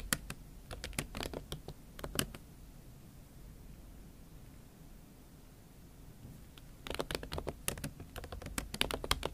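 Fingertips and nails type on a MacBook Pro keyboard covered with a pink silicone skin, producing quick, bright, dry taps and clicks. A burst of typing is followed by a quiet stretch with only a low background hum, then the typing resumes more densely toward the end.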